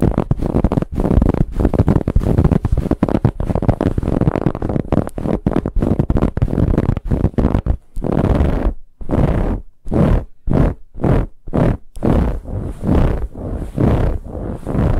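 Long nails of both hands scratch aggressively at a large, soft, dark brown pillow with a ribbed, textured fabric cover. Dense, low, rough scratching runs almost continuously for about eight seconds, then breaks into separate short strokes with brief gaps of silence between them.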